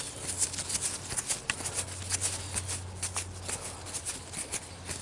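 Fingers rub and crinkle a broad, thin, fresh green leaf on a living plant, pinching it between thumb and fingers. The result is a continuous, bright crackling rustle of quick crisp bursts, with a steady low hum underneath.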